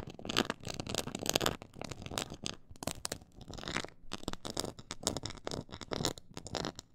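Long acrylic nails scratch and tap across a black, glossy, quilted faux-leather board with a raised diamond texture. The result is a dense, uneven run of dry, crackly scraping bursts and quick taps that reach up into bright highs and stop dead with no ring.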